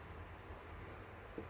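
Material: Nothing is struck.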